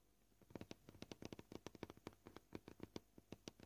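Fingernails of both hands tap on a flat, solid white plastic cutting board, making about 22 quick, dry clicks at an uneven pace. Each tap is short, with little ring, a mid-low body and a bright top. The taps sound quiet against a faint background.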